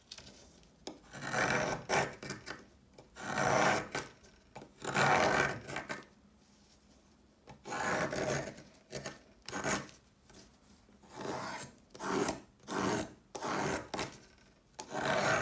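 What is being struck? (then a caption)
Chalk stick scraped with a metal blade. A solid white chalk stick, held in the fingers, is scraped along its length by a peeler's metal blade, shaving off flakes. Repeated dry, rasping strokes come in bursts, with a gritty sound spreading from the mids into a bright top, separated by short quiet pauses.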